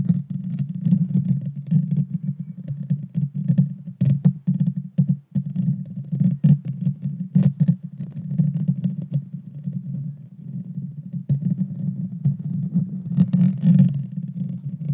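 Long dark fingernails of both hands scratch the small, hollow, round metal mesh grille of a Blue Yeti Nano microphone. The result is a continuous, dense, muffled rumbling scrape centred low around 150 Hz, with brief bright clicks and taps breaking through at moments.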